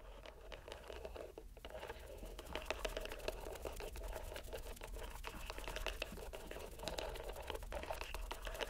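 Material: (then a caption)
Rubber. A green rubber stress ball inside a white mesh net is squeezed in the hand, producing a dense run of small sticky crackles and soft squelchy ticks. The crackles sit over a steady low hum and stay quiet throughout.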